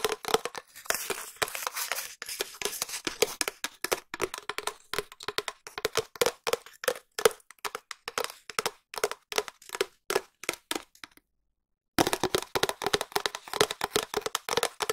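Long nails tap rapidly on a long, empty, hollow cardboard tube held close to the mic, giving dry, clicky hits with a hollow mid-range knock around 450 Hz and very little ring. The tapping is steady and dense, pauses briefly near the eleven-second mark, then resumes at the same quick pace.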